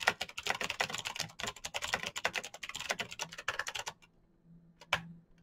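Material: Plastic.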